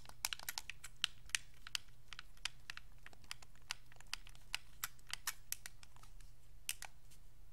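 Thumbs click the face buttons and d-pad of a white Xbox 360 controller made of hollow, hard plastic, with fingers resting on the triggers. Quick, dry, bright plastic clicks come in an irregular stream and stop instantly, over a steady low hum.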